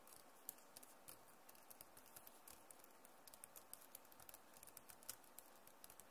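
Rapid typing on a backlit plastic Acer laptop keyboard, the keys typed and tapped with the long nails and fingertips of both hands. A quiet, steady patter of short, dry, bright clicks with no ring, over a low background hiss.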